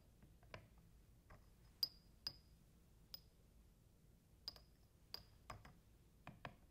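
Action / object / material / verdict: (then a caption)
tap / glass test tubes in a rack / glass / none. Fingers with painted nails tap and clink empty glass test tubes standing in a white rack. Sharp, bright clinks come one after another, some with a brief high ring, over a quiet background.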